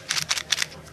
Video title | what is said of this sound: SHTF: Pill Bottle Storage | these ones rattle very little